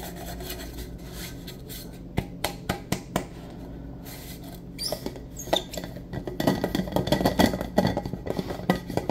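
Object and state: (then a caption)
Stainless steel travel mug. Fingertips and nails tap and rub the lid and body of a hollow, black-coated insulated stainless steel travel mug with a lid and a silver metal rim, held in both hands. A low hum sits under the sound as four sharp, well-separated taps come near the two-to-three-second mark, followed by quieter scratching. The tapping then grows into a denser run of short, dull knocks and rubs with almost no ring.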